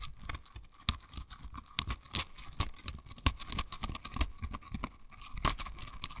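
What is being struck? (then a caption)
Silicone bristle scrubber. A pink silicone bristle scrubber is held in both hands, squeezed, and its bristles are scratched with long nails. It makes a rapid, irregular run of soft scratchy ticks and crisp clicks with bright edges, over a faint steady tone near 1 kHz.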